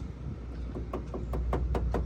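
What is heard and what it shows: Light, rapid taps on a steel body panel near a small ding on a 1979 AMC Spirit AMX produce short, dull knocks over a steady low hum. The taps show the panel is solid metal, original steel rather than filler.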